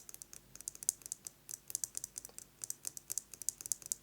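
A metal lipstick case is tapped quickly with fingernails, giving about 27 short, bright, crisp clicks in uneven bursts. Each tap dies almost instantly, with almost no low end.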